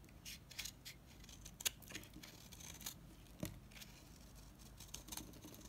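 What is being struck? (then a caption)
Bar of soap cut with a knife. A dry, solid mint-green oval bar of Savoy soap is cut and scraped with a knife blade, shaving off crisp flakes. The sound is a quiet series of short, bright scraping and crackling strokes with sharp transients. Some strokes stand out louder, with soft scratchy texture between them.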